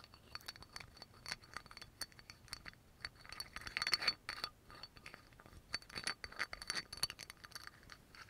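Fingernails tap and scratch quickly on the black cap and neck of a small amber glass oil bottle, a dark brown glass bottle with a yellow label. Dense, bright clicks and scrapes come in rapid bursts over a faint, steady high glassy ring, with almost no low end.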